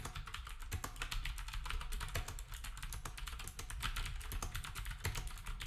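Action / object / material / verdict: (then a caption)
tap / round-key plastic keyboard / plastic / none. Fingertips of both hands type steadily on a black, retro typewriter-style keyboard with round plastic keycaps. The result is a dense, continuous stream of overlapping clicks and clacks, with sharp bright transients over a heavy low thump.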